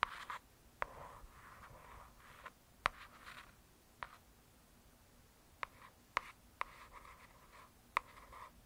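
A long acrylic nail and fingertips slowly scratch and trace across the glossy, solid cover of a hardcover "True Crime" paper book. Soft, papery swishes sit mostly around 1 kHz, punctuated by sharp, dry clicks with almost no ring in a quiet, close setting.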